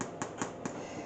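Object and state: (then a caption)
Baked bread roll, hollow. Fingers tap the bottoms of small baked bread rolls, making a few light, dull knocks over a steady low background. The rolls sound hollow, showing they are baked through and ready to come out of the oven.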